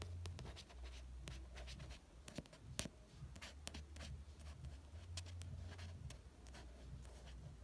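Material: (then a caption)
Card. A fingertip traces the author's name on the glossy card cover of a red paperback novel, then fingers tap the cover. The result is a soft, quiet scratching and brushing with a steady low hum underneath. Short, dry, bright little taps punctuate it.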